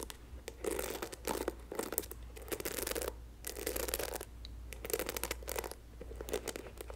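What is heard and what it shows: Long nails scratch the bristles and tap the hollow plastic back and handle of a pink and white patterned plastic paddle hairbrush with a black rubber cushion. Bursts of dry, bright scratching alternate with short, sharp taps, and each sound dies away almost instantly.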